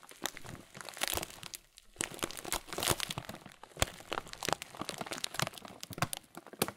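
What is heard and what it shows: A thin, hand-sized clear plastic bag full of oat flakes and chocolate cereal pieces is held in both hands and squeezed slowly over a wooden table, one fingertip wearing a blue cover. Dense, bright crinkling of the plastic mixes with crunching of the cereal inside. A short quieter pause comes near the two-second mark before the crinkles resume.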